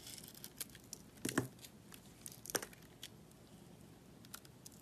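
A pink soap bar with yellow glitter edges, held with long nails, is cut and scraped with a metal utility knife blade. Crisp, dry scraping and crumbly tearing sounds fill the clip, with bright clicks and two louder cutting bursts near 1.3 and 2.6 seconds over a soft, steady hiss.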